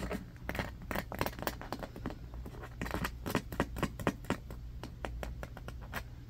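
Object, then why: Small bamboo hairbrush with bristles. Fingernails scratch the bristles and tap the wooden back of a small striped bamboo hairbrush held in both hands above carpet. Quick, irregular dry scratches and short, sharp clicks come in a rapid patter over a steady low hum, with no ring after each hit.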